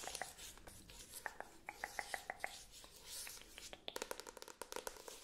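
A medium-sized paperback book with a glossy card cover and solid paper block is held in the hands and tapped and scratched on the cover with long acrylic nails. Quick, sharp clicking taps with a short mid-pitched ring alternate with soft, bright scratching and rustling. The taps come in fast bursts and grow denser toward the end, all at a quiet, close level.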